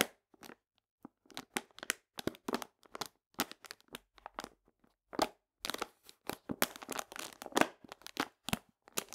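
Long painted nails scratch and rub a full paper cane sugar bag resting on a table. Short, dry crinkling and scratching bursts come one after another with brief silent gaps, bright and papery with almost no low end.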